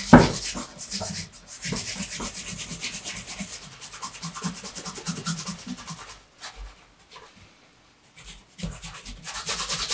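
A dark brown pebbled leather wingtip shoe with a shoe tree inside rests on a table and is then held up while its leather upper is rubbed with a bare hand. The result is a steady, soft, dry rubbing hiss with bright texture, broken by brief pauses and a near-silent stretch before the rubbing resumes.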